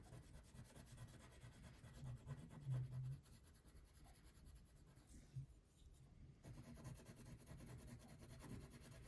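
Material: Paper, wax.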